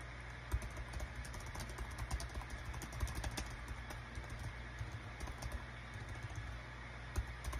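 Rapid fingertip typing with both hands on a small green-and-white plastic Dong Guan KPH-030 wireless Bluetooth keyboard with a built-in touchpad, its hollow thin body lying flat on a desk mat. Quick, dry clicks with very short ring patter continuously over a low steady hum, with a few sharper taps standing out.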